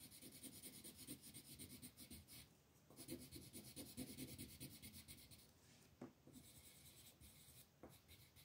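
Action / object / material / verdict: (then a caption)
scrape / wooden colored pencil on paper sheet / paper / none. A green wooden colored pencil rubs and scratches across a flat, thin paper mandala coloring sheet resting on a table while filling in leaf shapes. Quick back-and-forth strokes make a dry, bright, raspy scratching, with brief pauses between bursts of coloring.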